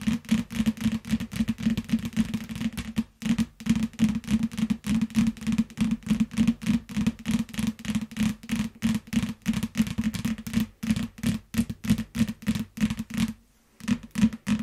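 Long acrylic nails tap and scratch across the glossy back cover of a closed yellow hardcover paper book ("Kullan lumo") lying flat on a grey mat. Dozens of quick, dry taps with a low hollow thump come in an uneven, rapid run, pausing briefly around 3 seconds and again near 13.5 seconds.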